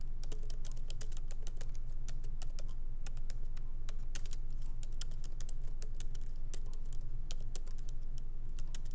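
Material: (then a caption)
Plastic. Light fingertip typing with both hands on a MacBook Pro laptop keyboard, its small plastic keycaps set in an aluminum body, on a wooden desk. Quick, bright, short clicks come in an uneven, steady stream over a constant low hum.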